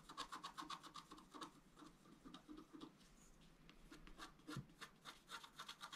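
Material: Coated paper.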